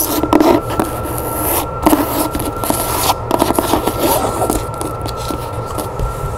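Long nails tap and scratch the cover and page edges of a solid, medium-size red cloth-bound hardcover book, held and lying on a wooden table. Quick dry taps mix with rough scraping and rubbing over a faint steady tone.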